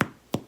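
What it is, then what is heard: Bread loaf sounds hollow, baked through. A baked white sandwich loaf topped with rolled oats, turned out of its pan into a hand, is thumped twice, giving two short, dull, hollow thuds. The hollow sound shows the bread is baked through and ready.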